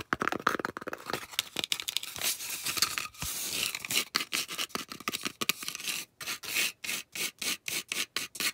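Long acrylic nails rub and scratch the face and edge of a round, solid, thick white polystyrene foam disc. The result is a bright, rasping, squeaky scraping, dense and continuous at first, then breaking into quick, evenly spaced strokes with short silences between them.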